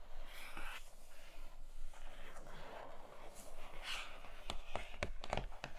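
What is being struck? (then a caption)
Rigid cardboard box lid. Long fingernails scratch and tap along a grey rigid cardboard box lid lying beyond an open tray. Soft, papery scratching strokes give way to a run of sharp, dry taps toward the end, each with only a very short ring.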